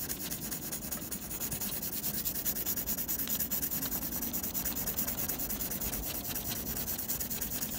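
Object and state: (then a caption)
Pencil hatching on textured drawing paper. A blue mechanical pencil held in the fingers scratches dense graphite hatching strokes across a flat sheet of textured white drawing paper laid flat. The result is a steady, rapid run of dry, bright scratchy strokes with a soft lower body and no pauses.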